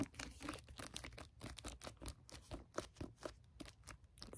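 Fingertips tap the plastic jacket of a library hardcover book with a goose on its cover. The result is a quick, uneven run of soft, dull taps with a crinkly, bright edge from the plastic. Each tap dies away almost at once.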